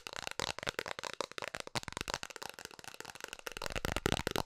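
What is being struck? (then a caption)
Round plastic container lid. Long nails tap rapidly across the face and rim of a round, hollow blue plastic container lid held in both hands. A fast, dense stream of dry, bright clicks runs throughout, with little low end and almost no ring after each tap, growing slightly louder near the end.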